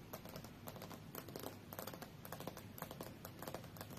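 Fingernails from both hands tap rapidly on the solid glass screen of a tablet lying face-up on a fur rug. The result is a quiet, dense patter of short, dry clicks that stop almost instantly, with little ring.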